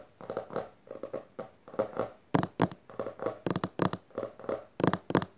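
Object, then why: Hardcover book with textured cloth cover. Long dark nails tap and scratch quickly across the textured maroon cover of a closed hardcover book resting on purple fabric, first with both hands and then with one. The sound is a run of rapid clusters of dry, hollow taps mixed with scratchy rasps. Louder, brighter bursts come in the second half.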